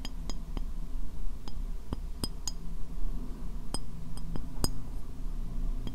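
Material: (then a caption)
Ceramic. A medium, hollow, empty white ceramic bowl, turned upside down over the microphone, is tapped with long painted fingernails. The taps come as scattered sharp, bright clinks that die away almost at once, over a steady low hum.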